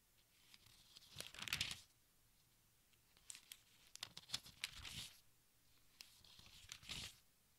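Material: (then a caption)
Thin paper. A hand lifts and turns the thin, crinkly pages of a large open textbook with its fingertips. Bright, papery crinkling and tearing-like rustles come in three main bursts between quiet gaps.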